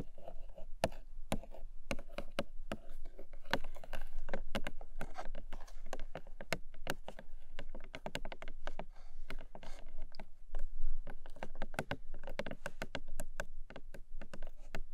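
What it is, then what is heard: Small paperboard box tapped with nails. Long nails tap rapidly and unevenly on the top face of a long, narrow, hollow pink paperboard box. The result is a steady patter of sharp, dry clicks over a low, hollow thump, with each tap dying away almost at once.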